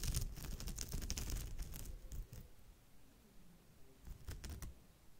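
Long pale nails scratch and tap across the weave of a woven straw or raffia bag. Dense, dry crackling scratches and quick taps fill the first two seconds, fade to a soft rustle, then return in a brief burst of crisp, bright ticks near the end. The sound is full and low-weighted, with sharp, short clicks on top.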